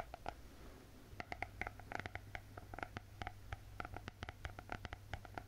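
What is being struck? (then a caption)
Spiral-bound notebook with hard glossy cardboard cover. Long painted fingernails tap and scratch the closed glossy hard cardboard cover of a spiral-bound notebook printed with gold cats. A quick, uneven run of crisp, hollow clicks with a mid-range knock rises over a steady low hum, and each tap dies away almost instantly.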